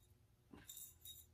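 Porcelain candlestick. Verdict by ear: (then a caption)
Loose. A vintage Lenox Lido pattern porcelain candlestick is shaken, giving three short, bright, high-pitched clinks as a loose piece rattles inside. The fragment broke off on the interior during firing, so the candlestick has no external damage but rattles when shaken.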